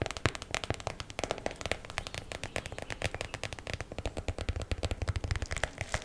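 A small clear plastic zip bag packed with purple and blue foam and velcro hair rollers is tapped and scratched quickly with long black acrylic nails. The result is a dense, steady stream of short, crackly plastic clicks and taps over soft low thuds, with the bright crinkle of the bag throughout.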